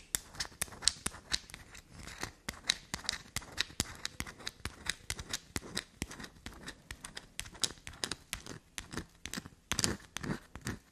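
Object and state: Bar of soap tapped and scratched with fingernails.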